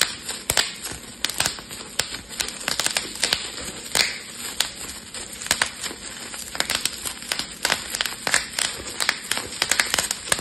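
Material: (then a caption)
Plastic. A clear plastic bubble wrap sheet is pinched and twisted between the fingertips, popping its bubbles. It makes a rapid, irregular series of sharp, bright snaps and crackles over a soft crinkling hiss, with almost no low end and each pop dying away instantly.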